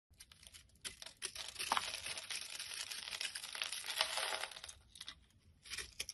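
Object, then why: Bar of soap. A metal carving blade scrapes across a solid yellow bar of soap held in the palm, shaving off its pre-scored, crumbly small cubes. Faint scratches at the start build into a dense, dry, crinkly scraping full of bright, high texture with almost no low end. It fades out, then a short final burst of scraping follows.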